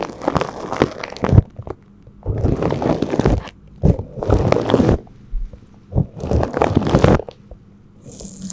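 A gloved hand brushes a flat bristle paintbrush across crinkled clear plastic cling film wrapped over a cylindrical microphone, making rubbing and scraping strokes. Several bursts of dense, crackly crinkling and scratchy rustle are heard, with a heavy low rumble, separated by brief near-silent gaps. The clip ends with a softer, hissy brush.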